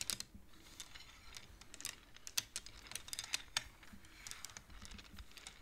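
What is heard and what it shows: Both hands push colored wooden beads along the metal rods of a large wooden-framed abacus with fingertips and nails, making a quick, irregular run of bright, dry clacks. Each click is short with almost no ring, over a faint low rumble.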